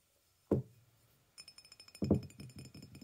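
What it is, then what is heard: Ceramic mug tapped. A white glazed ceramic mug with a handle, hollow and apparently empty, is held in both hands while fingernails and fingertips tap and knock on its side. One solid knock is followed after a pause by a quick run of clinking taps, with two louder knocks near the middle of the run. The hits are short, dull thuds with a faint, bright ring above them.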